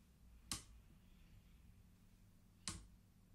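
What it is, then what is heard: Wooden abacus beads clicking. Index fingers of both hands flick single colored wooden beads along the lower metal rods of a wooden abacus, making two sparse, sharp clicks about two seconds apart. Each click is bright and decays quickly over a steady low hum.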